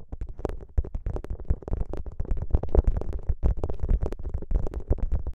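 Fingertips press, squeeze and rub a plastic gel bead ice pack, a soft, flexible clear plastic pouch filled with green gel beads draped over the microphone. A dense run of close, muffled squishes and crackles is heard, with deep low-end thumps underneath and brief bright clicks on top. Each sound dies away almost instantly.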